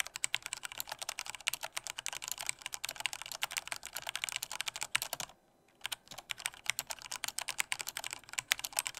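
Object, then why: Plastic mechanical keyboard. Fingertips type with strong force on a black plastic Corsair K68 mechanical keyboard with red switches, producing a rapid, steady stream of sharp, bright key clacks. The typing stops for about half a second near the middle, then resumes at the same fast pace.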